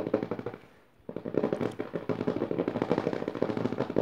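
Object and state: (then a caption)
Paper pages of an open notebook. Long dark nails quickly tap and scratch the dotted paper of the left page of an open hardcover notebook. A run of rapid, dry papery clicks fades to near silence for a moment, then resumes as a dense, continuous flurry of fast taps and scratches.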